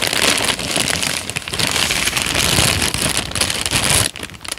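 A thin, crumpled and wrinkled peach paper sheet is bent, folded and crinkled by both hands with the fingertips. It makes a dense, bright, continuous crackling rustle with a soft low rumble underneath, then fades to quieter scattered crinkles near the end.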